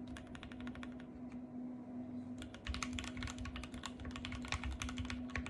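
Long painted fingernails type and tap on the white plastic keycaps of a compact RGB-backlit mechanical keyboard, producing rapid, bright, clicky keystrokes over a steady low hum. The typing thins out briefly near the middle, then resumes in denser, louder bursts with a soft low thump beneath the clicks.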